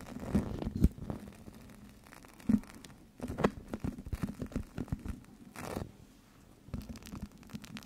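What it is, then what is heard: Plastic gel bead eye mask. A small, flat, clear plastic (PVC) eye mask filled with teal gel beads, with a white elastic strap, is held in front of a microphone and squeezed and rubbed with long yellow-painted nails and fingertips. Soft, dull squishing and crinkly plastic rubbing come in irregular bursts with short scratchy nail taps and brief quiet pauses. The sound is muffled and low-heavy, with little bright content.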